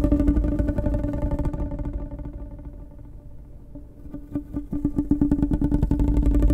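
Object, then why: Ribbed plastic pop tube. Long nails scratch along the ribs of a blue, ribbed, hollow plastic pop tube held near the mic. A dense, ratcheting scratch with a low, humming resonance thins out and softens midway, then returns as a fast run of rhythmic ridged clicks.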